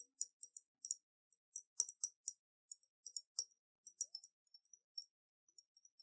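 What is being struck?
Round glass bottle with water and a metal cap.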